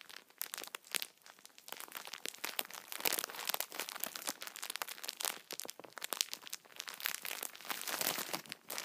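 Fingers squeeze and crinkle the clear plastic wrapper of a full, hand-sized multipack of solid Kinder chocolate bars held in both hands. Dense, bright crackling and crinkling comes in uneven bursts with almost no low end. Each sharp snap dies away instantly.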